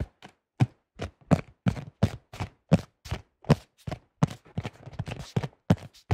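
Fingertips tap quickly on a thin-shelled beige plastic disc golf disc with a red stamp, mixed with gripping of the disc. Short, dull, low hollow thuds fall in an irregular rhythm with almost no ring. Softer scratchy rubbing from the grip fills the gaps toward the end.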